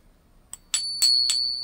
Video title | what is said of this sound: Ping tester for silver.. New pick-ups. 5oz silver bar update | sound just like that other one I put in there right this is how you know you got 999